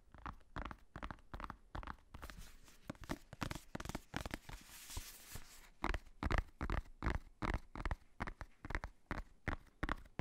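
Fingertips tap and nails scratch the black faux-leather cover of a hardcover notebook held upright close to the microphone. Soft, low, thumpy taps come in quick, uneven runs. A stretch of brighter, hissy scratching sits near the middle.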